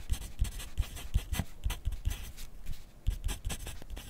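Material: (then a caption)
Paper. A yellow wooden graphite pencil, held in the fingers, writes continuously on a thin lined paper sheet clipped to a flat clipboard on a desk. The pencil tip makes short scratching strokes with bright, hissy texture, and each stroke lands with a soft low thump from the clipboard. The strokes come in quick, uneven bursts with brief pauses between them.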